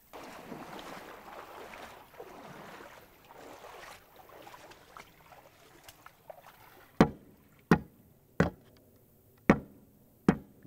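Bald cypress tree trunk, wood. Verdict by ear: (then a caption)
Hollow. Five sharp knocks on the trunk of an ancient bald cypress in a swamp ring out with a hollow, low wooden tone and die away quickly, following several seconds of soft, rushing, rustling background sound. The trunk is almost completely hollow, as many of the biggest trees there are, so a coring tool cannot reach the center to date them.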